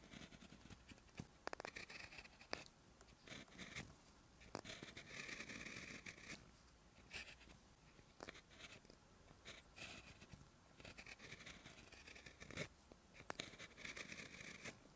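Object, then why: Gel pen on notebook paper. A gel pen tip scratches short handwriting strokes across the lined white paper of a spiral notebook lying flat. Quiet, bright scratchy strokes come in bursts with brief pauses, each stroke stopping dead with no ring.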